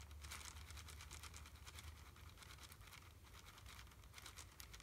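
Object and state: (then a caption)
Plastic candy wrapper. A small red plastic wrapper around a single candy is held in one hand and squeezed and crinkled with the fingertips. Soft, continuous crackling and crinkling with bright, irregular snaps runs over a steady low hum throughout.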